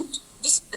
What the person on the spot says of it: Ketuk boleh dengar? Dengar. That is wood, right? Walnut wood.